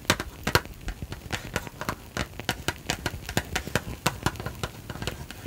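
A small, hollow, red and white printed cardboard box is held in both hands, tapped and scratched with long nails, and possibly shaken. A rapid, uneven series of sharp, dry taps and clicks comes over a soft scratching hiss. Each tap stops almost instantly, with bright clicky highs and a light hollow thump underneath.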